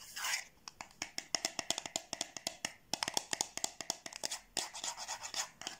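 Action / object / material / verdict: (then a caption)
tap / small cardboard box / cardboard / none. Long nails rapidly tap and scratch the surface and edges of a small, hollow yellow cardboard gift box held close. A brief scratchy rustle opens into a fast series of crisp, bright, dry taps with almost no ring, interspersed with short scraping strokes.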